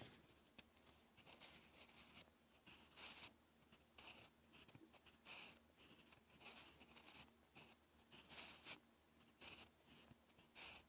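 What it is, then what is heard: Pencil writing on textured paper. A sharp graphite pencil tip scratches strokes across a lined, textured paper sheet while writing. The result is a quiet, bright, scratchy rasp in short bursts of varying length with brief pauses between them.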